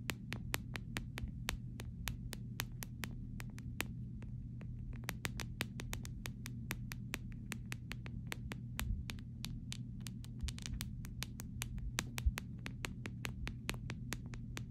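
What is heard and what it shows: Pink manicured fingernails tap an empty clear flexible plastic phone case with small resin charms, lying on grey fabric. A quick, steady stream of light, crisp clicks rings bright and dies almost instantly, over a constant low hum near 59 Hz.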